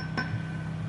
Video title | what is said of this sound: Fender Blues Junior......Has the blues??? | I get a little bit of a ring now